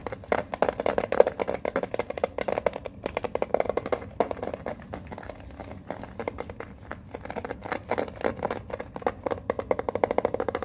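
Long fingernails tap and scratch the small printed metal lid of a Pokemon card tin held up close, making a steady stream of quick, dry clicks and light scrapes. The taps ring briefly around a mid-range tone with little low end, coming in dense bursts with short pauses between them.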